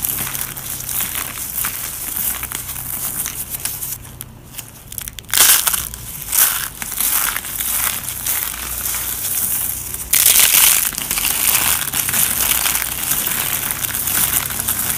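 Black nitrile-gloved hands grab handfuls from a pile of small, dry, brittle orange and white soap flakes and chips on a paper surface, squeezing, crushing and crumbling them between the fingers. A dense, bright, crunchy crackling runs throughout, with louder bursts of crushing around the middle and two-thirds of the way through.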